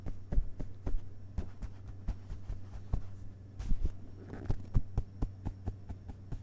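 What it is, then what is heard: Paper book pages tapped. Fingerpads of both hands tap the printed paper pages of an open hardcover book's solid page block, with the book resting on a carpet. Soft, dull, low thuds fall in an uneven rhythm over a steady low hum, with one brief rustle partway through.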